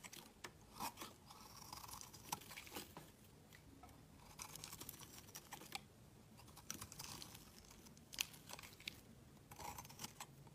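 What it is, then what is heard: Bar of soap being shaved. A metal utility knife blade shaves a solid pale green bar of soap held in hand, and green curls fall onto a woven mat. Quiet, crisp, bright scraping and crackling strokes come in bursts with short pauses between them, over a low, steady background.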